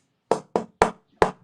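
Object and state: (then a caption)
Resonant rosewood tonewood board. A quarter-sawn, straight-grain, flamed old-growth Brazilian rosewood tonewood board, set aside for upcoming guitar builds, is tapped four times. Each tap gives a bright, glassy knock with a clear tone around 440 Hz that fades quickly. The tap tone is judged really good and very vitreous.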